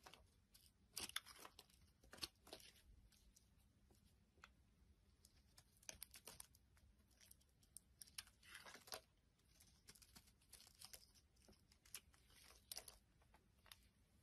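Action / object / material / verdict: scrape / bar of soap scraped with a metal blade / soap / none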